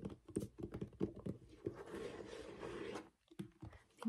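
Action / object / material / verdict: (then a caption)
tap / plastic shampoo bottle / plastic / none. Fingernails tap and scratch the body of a hollow white plastic shampoo bottle with a blue flip cap, held at an angle. Quick, irregular, dull taps come first, then a steady scratching stretch, then a few more taps and a scrape.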